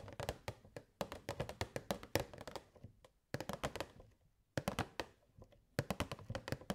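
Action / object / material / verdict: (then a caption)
tap / clear plastic box / plastic / none. Long nails tap quickly on the walls of a hollow, clear plastic box with purple fairy lights inside. About thirty short, dry, clicky taps with a hollow ring near 550 Hz come in bursts, with brief pauses just after 3 and 4.5 seconds.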